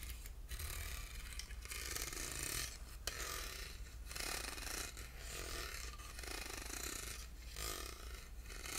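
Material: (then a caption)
Aluminum. Short nails scratch across the grooved ribs of a small, hollow, silver aluminum box held in the hand. The result is a steady, bright, rasping scrape in repeated strokes with brief dips between them, over a low constant hum.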